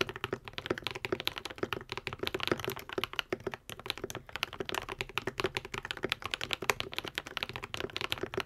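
A modded white and pink 75% Epomaker TH80 mechanical keyboard with Akko V3 Cream Yellow switches and plastic keycaps is typed on continuously with the fingertips of both hands. Rapid, dense keystrokes produce short, crisp clacks with a mid-pitched body and a bright top, each dying away almost instantly.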